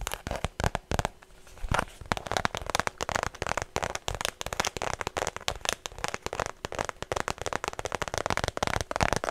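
Fingernails tap rapidly on a white structured faux leather shoulder bag held close to the mic, producing a dense stream of sharp, dry clicks with a crackly, bright edge. Each tap stops almost instantly with no ring, and the tapping continues unevenly throughout with a brief quieter pause near the start.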